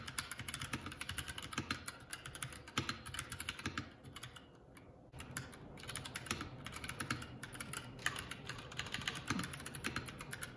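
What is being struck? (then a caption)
Mechanical keyboard with plastic keycaps. Fingertips of both hands type continuously on a Keycool K84 75% mechanical keyboard with plastic keycaps, making a fast run of sharp, bright clicks and clacks with short decays. The typing briefly softens and thins out for about a second before picking back up at a steady pace.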